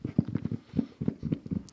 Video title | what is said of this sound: ASMR guess the sound (with hints) | It is an Xbox controller container. Okay, that one's a little specific, but maybe the hints got you there.